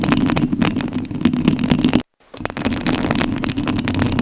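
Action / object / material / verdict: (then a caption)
scrape / metal mesh microphone grille / metal mesh / none. Long nails scratch the metal mesh grille of a rhinestone-covered studio microphone, making a dense, continuous scratching and rasping with a strong low-mid hum. The sound drops out completely for a brief moment just after two seconds, then the scratching resumes at the same steady level.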